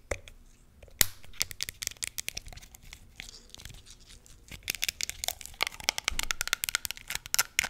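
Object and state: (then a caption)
Plastic hand sanitizer bottle. Long nails tap and scratch a small pink plastic hand sanitizer bottle with a black flip cap, full of gel, on its label and cap. A quick, uneven run of sharp, bright clicks and crinkly scratches is heard, mostly high-pitched with little low end and almost no ring after each tap.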